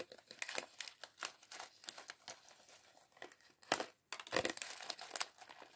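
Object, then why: Thin plastic bag holding small plastic bricks. A small, clear, thin plastic polybag holding a few red, green and yellow LEGO pieces from the LEGO City sandwich shop set 40578 is crinkled between the fingertips of both hands. It makes a quiet, bright, irregular crackling in short bursts with brief pauses, with a few sharper, louder crinkles near the end.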